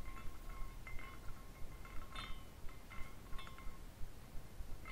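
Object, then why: Glass carousel figurine with hanging glass pieces. A small clear glass carousel figurine on a rainbow glass base is spun by a hand twisting its top spire, and its hanging glass horses tinkle against each other. Soft, bright glassy chimes ring out in scattered clusters over a low, rumbling background.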